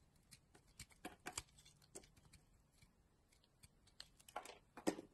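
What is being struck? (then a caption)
Bar of soap shaved with a blade. A hand-sized solid yellow Doxa bar of soap, held in a hand with long nails, has its edges carved and shaved with a utility knife blade. The result is a quiet series of short, crisp scraping and shaving strokes with bright, dry edges and no ringing, with louder cuts clustering near the end.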